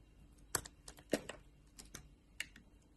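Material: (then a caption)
Soap. A metal utility knife blade shaves thin layers off a solid blue oval bar of soap held in a palm, with long painted nails nearby. Short, crisp, bright scraping clicks sound in a quick irregular series, each ending almost instantly, against a quiet background.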